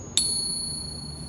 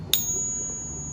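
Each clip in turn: First: One sharp ping leaves thin high tones ringing on; a counterfeit silver coin. Second: One sharp ping gives a pure, very high ring that carries on clearly; a genuine silver coin.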